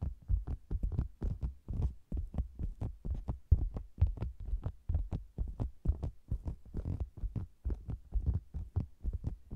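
Long green-nailed fingers tap and scratch the sides of a round, hollow, red and zebra-print faux leather cosmetics bag with a microphone inside it. Rapid, uneven, muffled thumps follow one another with almost no ring, heavy in deep low end. They sound like a dull, throbbing heartbeat with faint brighter scratchy edges.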